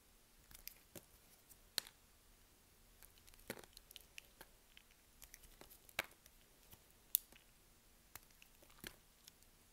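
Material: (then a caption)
Soap. A box-cutter blade shaves thin curls and slabs off a solid yellow bar of soap held in the hand. About sixteen quiet, bright, crisp scraping snicks come at an irregular pace, each stopping almost instantly. A faint, steady low hum runs underneath.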